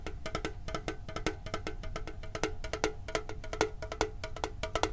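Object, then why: Small printed metal tin. A hand-sized, hollow printed metal Pokemon card tin is held near the microphone and tapped quickly with the fingertips. The result is a rapid, uneven stream of short, dry metallic clicks with a hollow ring around 430 Hz and some bright overtones, each tap dying away almost at once.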